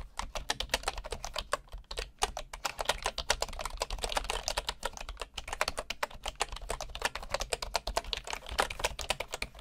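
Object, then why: Bamboo wood keyboard. Fingertips type steadily on a bamboo wooden keyboard, producing a rapid, continuous run of short, crisp key clicks with a bright, woody tap and a faint low hum underneath. The typing keeps an even pace with only brief pauses, and each click dies away almost instantly.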